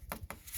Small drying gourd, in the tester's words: you can hear them they're quite hollow when you knock on them